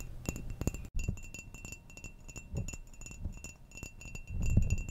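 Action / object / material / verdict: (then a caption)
tap / ceramic mug / ceramic / none. Long manicured nails tap and scratch a hollow, apparently empty ceramic coffee mug with a flower pattern, held in the hand. Quick, irregular clicks and scrapes come with a soft low thump and faint high, bell-like ringing tones. Short louder bursts occur, the strongest near the end.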